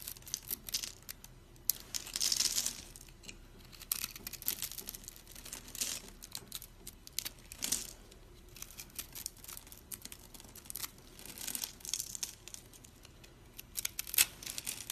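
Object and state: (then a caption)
Dry soap bar. A thin metal blade held in fingers with long purple nails cuts and scrapes a hand-held rectangular bar of dry, solid soap scored in a cube pattern, resting on a pile of soap crumbs. Dense, bright crunching and crackling runs throughout as small cubes break off, with louder bursts around two, eight and fourteen seconds.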